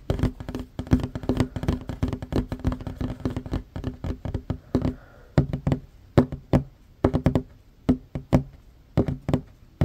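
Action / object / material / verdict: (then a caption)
tap / wooden tabletop / wood / none. Both hands fast-tap a flat, solid wooden tabletop with short fingernails. The taps are dry, short knocks with a low, woody thump and almost no ring. They come in a dense, rapid roll for the first half, then thin out into separate, sharper taps with brief pauses between them.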